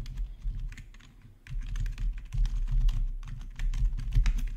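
Both hands type with their fingertips on a black plastic backlit RGB gaming keyboard. Irregular, fast key clicks come with a low thump and brief bright clatter, easing to quieter taps for a moment near the middle before picking up again.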